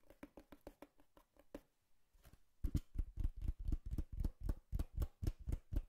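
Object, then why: Cardboard box. Fingertips and nails tap a hollow brown cardboard box with a slot, 24 distinct taps in total. A run of light, quick taps gives way to a brief near-silence and a few faint touches, then a steady series of louder, deeper hollow thumps at about four per second.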